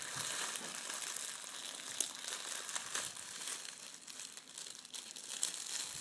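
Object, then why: Metallic foil wrapping paper. A small folded packet of red metallic foil gift wrap is squeezed, crinkled and unfolded between the fingers of both hands. It gives a steady, dense, bright crinkling with almost no low end, and a few sharper crackles stand out along the way.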